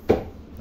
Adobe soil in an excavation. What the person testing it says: Pag mga ganyan tunog, matigas talaga yan